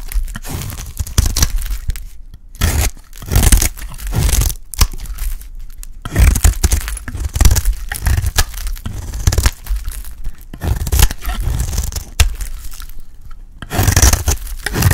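A solid, rectangular, pale green bar of dry soap is held in the hand and shaved into flakes with a metal utility blade. It makes a steady run of crunchy, crackling scrapes and cuts, with bright crisp bursts over a low, thumpy body. The strokes come in repeated waves with brief quieter gaps between them.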